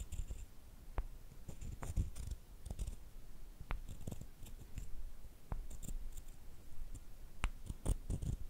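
A short, solid wooden stick is rubbed and scraped against a longer, flat wooden piece, handled with long painted nails. Quiet, low, rumbling wood-on-wood scratching is broken by frequent short, sharp ticks and clicks with faint bright edges. The clicks die away almost instantly.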